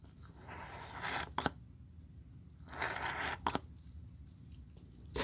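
A wooden-handled bristle brush scrubs foam over a white leather sneaker with a beige band. Two bursts of soft, bright bristly scrubbing are heard, each followed by quick sharp taps, with another tap at the end.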